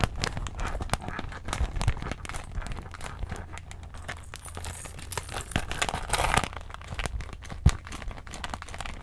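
A small, clear, holographic iridescent PVC plastic handbag with a gold chain strap, hollow and empty, is held in both hands and squeezed and scratched with long acrylic nails. The plastic gives off a steady, dense crinkling and crackling with sharp scratchy clicks and a low muffled rumble underneath, swelling into brighter rustling bursts at times.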